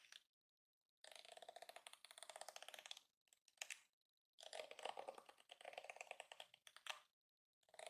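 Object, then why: Plastic detangling hairbrush bristles. Fingers drag across and flick the flexible plastic bristles of a hand-sized yellow plastic detangling hairbrush. Rapid, ratchet-like clicking comes in dense bursts separated by silent pauses. The clicks are crisp and bright with no low end.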